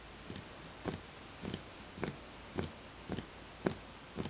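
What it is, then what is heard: Empty wooden bowl, hollow. A fingertip taps the outer side of a small, empty, hollow wooden bowl. Eight soft, hollow knocks come at a steady, unhurried pace, each dying away almost at once. They are quiet against a faint background hiss.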